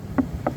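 A wooden boat hull covered with a fiberglass mesh layer is tapped twice. Each tap gives a short, dull knock with a low-mid tone and almost no ring. The mesh covering changes the sound of the hull.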